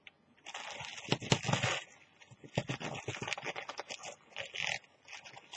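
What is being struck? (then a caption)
Thin plastic carrier bag. A thin, empty, partly torn orange plastic carrier bag with a Kwantum print is torn and crinkled by fingers with long nails. Dense, bright crackling and rustling come in bursts with sharp crinkle snaps, loudest in the first half and again in a flurry near the end.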